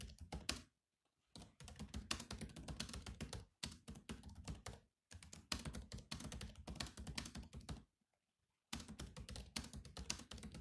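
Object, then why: Laptop keyboard with plastic keys. Both hands' fingertips type rapidly on the black plastic keys of a grey laptop, producing quick, clicky taps with a low thump under each keystroke. The typing comes in bursts separated by brief silences.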